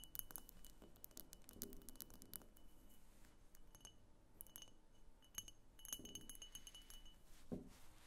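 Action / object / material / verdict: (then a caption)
tap / frosted glass lamp / glass / none. Long painted nails tap on the sides of a medium, egg-shaped pink frosted glass lamp or diffuser that appears hollow, with a thick clear glass base and a cable, sitting on a wooden table. Many quick, bright glassy clicks and clinks come in uneven bursts, each dying away almost at once, with a faint thin ringing tone lingering behind them.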